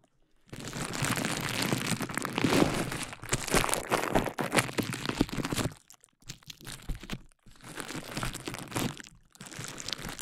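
A clear plastic bubble wrap sheet is wrapped over a dummy-head microphone while fingertips and long nails squeeze, pop and crinkle the bubbles. After a brief silence, a dense stretch of close, bright crinkling and sharp crackling pops runs for about five seconds. It then breaks into shorter bursts separated by quiet gaps.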